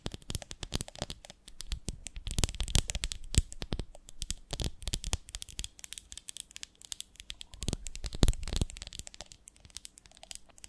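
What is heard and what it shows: Long nails tap and scratch rapidly along the sides of a medium, ribbed, beehive-shaped glass jar with a lid, full of honey. The result is a dense stream of sharp, dry clicks and brief scraping strokes that stop almost instantly, with bursts of bright crackle over a dull low body.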